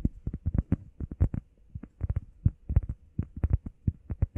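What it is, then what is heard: Foam workout pad. A grey textured foam heart pad, held in both hands, is tapped quickly with fingertips and nails on its face and edges. Twenty-two short, dull, low thuds come in uneven bursts. Each dies away at once with no ring.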